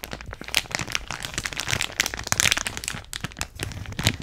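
Long nails squeeze, crinkle and scratch a clear plastic bag of purple beads with a card header, held close to the microphone. The result is a dense run of bright, crackly crinkles with sharp snapping peaks and a faint low rustle underneath.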